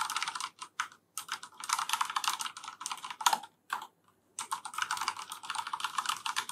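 A black plastic FILCO Majestouch 3 mechanical keyboard with Cherry MX Brown switches is typed on continuously with the fingertips of both hands. Quick, close clacky keystrokes come in bursts with brief pauses. Each stroke is short and bright, and there is little low end.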